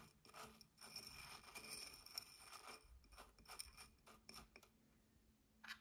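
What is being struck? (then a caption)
Small glass votive cup filled with soil and granules. Fingertips and nails dig into, scratch and tap the dark soil and white granules filling a small clear glass votive cup that holds a tealight, and also tap its glass rim. The result is a quiet, bright, gritty sequence of scratches, rustles and short sharp clicks with brief pauses between bursts.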